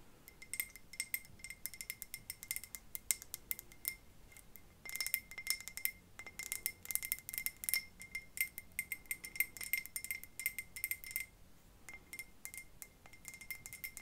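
Long fingernails tap on a large glass decoration shaped like a light bulb, with a metal cap and small stones and artificial plants inside. Rapid, bright, clicky taps come in bursts with brief quieter gaps. Each tap dies away almost at once, with a faint ringing tone near 2 kHz and a crisp high sheen.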